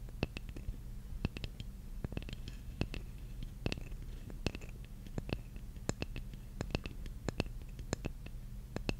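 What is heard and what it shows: Long nails scratch and tap a large, flat, solid wooden jigsaw puzzle piece held upright. Quick, sharp, dry taps with a bright edge scatter irregularly over soft scratching. A steady low hum sits underneath throughout.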